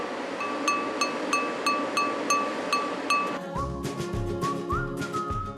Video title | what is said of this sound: 한국만 사용하던 물건인데 한류 열풍에 덩달아 대박!｜한국에서만 구할 수 있어 외국인들이 사간다는 의외의 물건｜극한직업｜#골라듄다큐 | 이렇게 때려봤을 때 맑은 소리가 나는